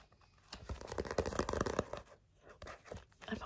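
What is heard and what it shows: Fingers with dark-painted medium nails scratch or tap the page edges of a small, solid paperback manga book held up with its edges facing out. Quiet, dry, crackly ticks and scratches come in an uneven burst, pause briefly, then return more sparsely, with no ring after each touch.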